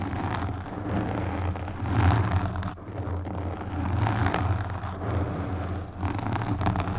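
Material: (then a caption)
Foam. Long pink nails on both hands scratch across the black foam windscreen of a desktop microphone. The result is a steady, close-up rustling scrape with a heavy low rumble that swells and eases in waves.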